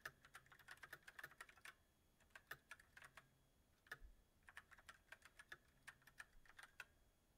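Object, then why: Mechanical keyboard with plastic keycaps. Both hands type on a backlit mechanical keyboard with white plastic keycaps on a silver metal frame. Quick, sharp clicks with a bright ring near 1.7 kHz come in uneven bursts, with brief pauses between runs of keystrokes.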